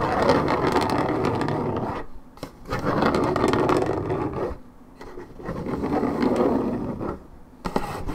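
Long red nails scratch the top and side edge of a hollow Minute Maid orange juice carton, about 1.5 L and made of coated paperboard. The result is three sustained stretches of dry, raspy scratching with brief quiet gaps between them. The tone is papery and dull, mostly low-mid, with a short sharp tick near the end.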